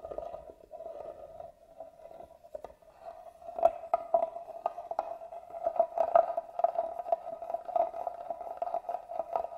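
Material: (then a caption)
Wood. A small black tool scratches along the carved grooves in the lid of a hollow, hand-carved wooden box held upright. It makes a steady, raspy scraping with a resonant hollow tone near 680 Hz. The scraping grows louder and more clicky from about the middle onward, with sharp accents at irregular intervals.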